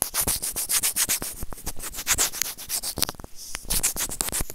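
Serrated plastic tweezers scrape across a small, hollow white plastic earphone inline microphone remote in quick, rapid strokes. The result is a dense run of bright, dry scratching and rubbing sounds, with a brief quieter gap just past three seconds before the scraping resumes.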